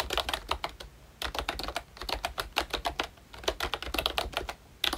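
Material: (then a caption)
Plastic. A full-size, Mickey Mouse-themed ROYCHE retro membrane keyboard with round plastic keycaps is typed on continuously with the fingertips of both hands. Bursts of quick, light, clacky keystrokes are separated by brief pauses, with bright, short taps that die away almost instantly.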